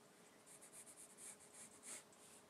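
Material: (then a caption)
Paper. A gloved hand draws with the graphite tip of a wooden pencil in small scratching strokes on a large, thin, flat white A3 paper sheet resting on a wooden desk. Quiet, bright, airy scratches come in a steady series of short strokes over a faint, constant low hum.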